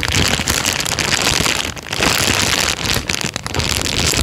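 An empty, thin, clear transparent plastic bag is held up and crumpled by hand, producing a steady, dense crinkling and crackling that is bright and hissy. The rustle runs almost continuously, briefly softening twice before picking back up.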